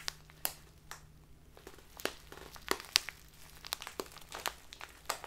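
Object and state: Plastic tea bag crinkled.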